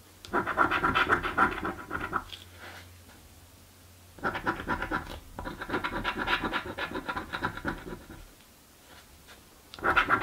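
A coin held between the fingers scratches the coated panels of a thin paper "Mystic Riches" lottery scratch card resting on a dark table. Fast, repeated scratching comes in bursts, around 0.3–2 s, 4.2–8 s and again at 10 s, with quiet pauses between. The sound is dry and rasping, centered in the midrange with little low end.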